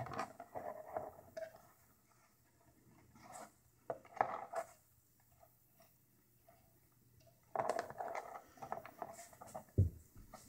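A curved, tan Worbla thermoplastic hip armor shell, thin and hollow, is held in both hands while fingertips and long painted nails tap and scrape its textured outer surface. The result is bursts of quick, dry, mid-pitched clicks and scratchy rustles that stop short with no ring, separated by quiet pauses. A louder, low thump comes near the end.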